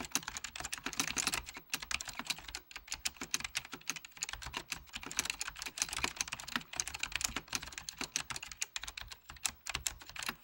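Fingertips of both hands type steadily on a full-size beige plastic Apple Extended Keyboard II with mechanical key switches. The result is a rapid, continuous stream of crisp, bright clicks and clacks that decay almost instantly, with little low end and a few brief pauses between bursts.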